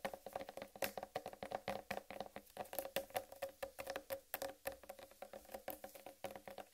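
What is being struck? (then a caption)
Whole watermelon rind. Long red nail tips tap quickly on the rind of a large, solid whole watermelon, giving about 44 rapid, crisp taps. Each tap is short and dry, with a steady mid-pitched tone near 550 Hz and a bright clicky edge.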